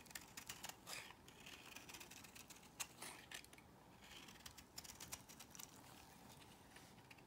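A small metal blade scrapes thin curls off the surface of a solid cream bar of soap held in the hand. The result is a quiet run of bright, crisp, dry scratches and short ticks with almost no low end and very little ring.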